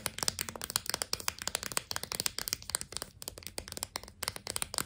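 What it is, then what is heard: Sidewalk chalk in plastic blister pack. Long nails tap rapidly on a clear plastic blister pack holding four sticks of sidewalk chalk on a cardboard card. The result is a dense run of sharp, bright clicks that die away almost instantly.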